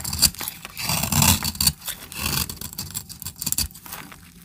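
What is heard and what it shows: A knife blade scrapes curls and powder off a solid, powdery, translucent brown bar of dry soap held in the hand. Bright, dry scraping strokes come in an irregular run, each with a crisp, crumbly texture and no ring. The strokes grow softer toward the end.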